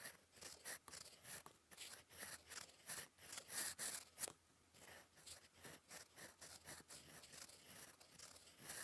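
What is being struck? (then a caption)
Metal fountain pen nib on a paper sheet. A gold metal fountain pen nib, held in fingers, scratches across a flat sheet of cream lined paper on a desk while writing cursive. Dry, bright, papery scratching comes in quick, uneven strokes with short pauses between them. Each stroke stops dead with no ring.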